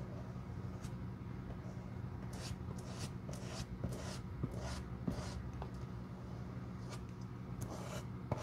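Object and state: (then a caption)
Leather shoe sole. A stiff-bristled glue brush sweeps repeatedly across the flat, solid leather outsole of a black quilted shoe held in the hand. Each stroke makes a soft, bright scratchy rustle with a few light taps, over a steady low hum.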